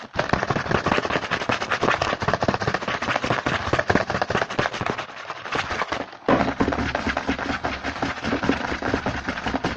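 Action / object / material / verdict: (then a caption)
tap / small printed cardboard box / cardboard / none. Fingertips of both hands rapidly tap and scratch the front of a small printed cardboard Hanuta snack box, first held and then lying on a table. The sound is a dense, fast stream of short, dry clicks and rasping scratches with almost no ring. It is briefly interrupted by a quieter gap around six seconds.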